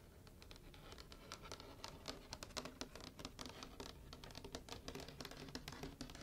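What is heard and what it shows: Long painted nails and fingertips scratch and tap across the glossy cover of a large hardcover picture book lying closed on a white table, its solid, flat cover made of paper and cardboard. The quiet clip is a steady run of bright, dry scratching broken by a rapid series of sharp, short taps that die away almost at once.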